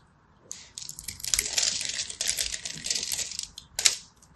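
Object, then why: Bar of soap. A small black blade scratches across the grid-scored face of a hand-held purple and white striped solid soap bar, cracking flakes off. Bright, crisp scraping crackles run continuously for about three seconds, with sharper snaps near the start and a final loud crack near the end. There is almost no low end.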